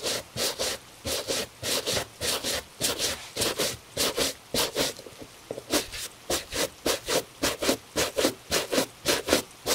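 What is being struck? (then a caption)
Leather dress shoe and bristle shoe brush. A gloved hand steadies a hollow tan leather cap-toe Italian dress shoe while a bristle shoe brush rubs across it in about twenty quick back-and-forth strokes. Each stroke gives a bright, breathy scratching hiss over a softer mid-toned rasp, falling in a fairly steady rhythm with brief pauses.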